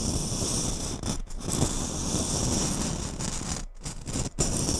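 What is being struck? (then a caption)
Glitter-covered Christmas bauble. A small gold glitter-covered Christmas bauble, likely hollow, is held on top of a microphone while long nails scratch and tap its glittery surface. A continuous gritty, rustling scrape fills the clip, with a bright hiss up high and a dense low rumble. It is broken by brief quieter gaps around one and a quarter seconds and again near three and three-quarter and four and a quarter seconds.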